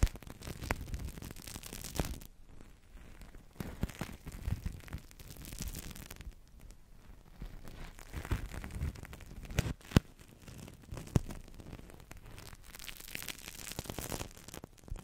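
A large, hollow, thin blue plastic-film bubble blown from a Crystal Ball plastic toy rests on the mic and is pressed, crinkled and tapped with fingertips and nails. The result is a steady, close crackling and rustling, heavy in the low end, punctuated by a few sharp, sudden taps.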